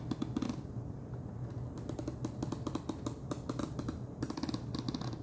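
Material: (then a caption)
Plastic. Fingernails tap and drum on the wide orange plastic screw lid of a large clear plastic jar full of cheese puffs. About two dozen quick, dry clicks come in bursts, each with a short hollow knock low in pitch and a brief bright tick on top. They die away almost instantly over a faint steady low hum.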